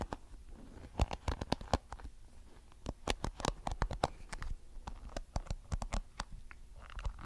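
Fingertips flick and rub the colorful flexible plastic bristles of a small blue plastic hairbrush close to the microphone. A rapid, uneven series of sharp, dry clicks and snaps rises above a soft low rumble and fine scratchy rustling. Each click dies away almost instantly.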